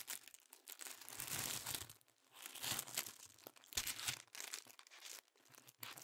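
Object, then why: Thin tissue paper sheets. A stack of thin pink tissue paper is held in both hands and crinkled and folded with the fingers. Soft, bright, papery crinkles and rustles come in swelling bursts with brief quiet gaps, staying high-pitched with almost no low end throughout.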